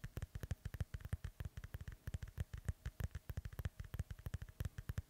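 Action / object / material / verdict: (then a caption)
tap / synthetic leather soccer ball / synthetic leather / none. Rapid fingertip and nail tapping and scratching on the cover of a hollow, inflated synthetic leather soccer ball held beside the mic. About 42 quick, dry taps land in a steady stream, each a deep, hollow low thump that stops almost instantly, with faint brighter scratchy clicks on top.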